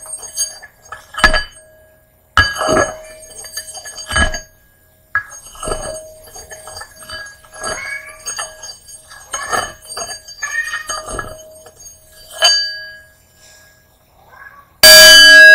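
A wooden mallet repeatedly knocks a small, empty, hollow hammered brass singing bowl resting on a red cushion. Each knock gives a bright metallic clink that briefly rings with steady tones near 630 Hz, 1.6 kHz and 3 kHz and fades within about a second. The clip ends with a sudden loud, harsh burst of noise.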